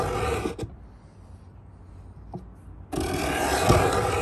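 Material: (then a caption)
Pine wood. Hollow pine box with its edge scraped by a steel beading scraper held in both hands, in repeated scrape strokes. A loud, broadband rasping scrape runs for about half a second, then drops into a quiet low hum with a couple of faint ticks before another long, bright rasping stroke starts near the three-second mark and continues to the end.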